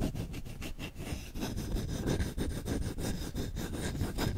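Short fingertips scratch fast and hard across the bowl of a solid wooden spoon, making a dense, rough, continuous rasping with quick, uneven strokes. The sound is mostly low and thick, with faint bright scratchy streaks on top.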